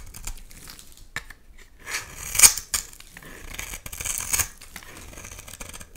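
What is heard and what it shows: A utility knife blade cuts into a solid red oval bar of soap and scrapes shavings off it. Dry, bright scraping and crisp slicing sounds rise and fade in short strokes, with the strongest cuts near the middle and toward the end, over almost no low end.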